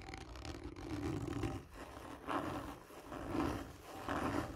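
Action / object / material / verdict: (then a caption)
scrape / hollow cardboard tube / cardboard / none. Fingernails slowly scratch a hollow, textured cardboard tube lying on its side. Rough, raspy strokes swell and fade in a steady back-and-forth rhythm, with a low rumbling, roar-like body and a faint hollow resonance in the tube.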